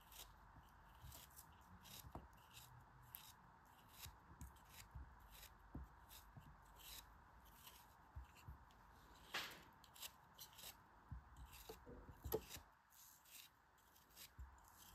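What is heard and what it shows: A knife cuts into a solid yellow kinetic sand shape held in the hands, making it crumble. Soft, quiet, crumbly scraping cuts repeat at an uneven pace over a faint steady hiss. Two brighter, louder crunching slices stand out near the middle and toward the end.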